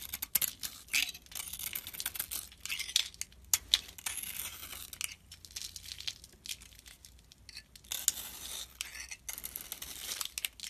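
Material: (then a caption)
Soap. A solid oval bar of soap with a glittery blue coating and a white core is held in the hand and shaved with a metal box-cutter blade, sending chips flying off. The result is a run of bright, crisp scraping and crackling strokes with short pauses between them, and almost no low end.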